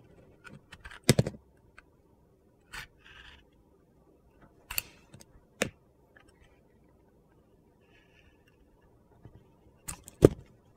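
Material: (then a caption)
Soap. A metal utility knife blade carves and scrapes the orange-green glitter coating off a hand-sized solid white bar of soap. Short, crisp crunching scrapes and clicks come in scattered bursts, some with a brighter gritty hiss, separated by quiet pauses.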